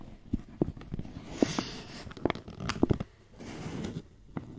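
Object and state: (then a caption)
Paper flour bag being crinkled. A wrinkled white paper bag, apparently filled with flour, is squeezed and crinkled with both hands. It makes soft, muffled crinkling and rustling with scattered short, dull crackles and pops, mostly low to mid in tone. Quieter stretches of grainy rustle come between them.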